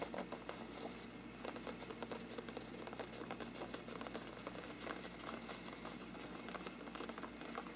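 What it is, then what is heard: Paper lampshade. Fingertips scratch and tap on a large, hollow, empty bell-shaped faux-parchment paper lampshade, with the hands moving from the rim down to the sides. The result is a quiet, steady, crackly papery scratching and rustling, scattered with soft light taps that carry a faint hollow tone.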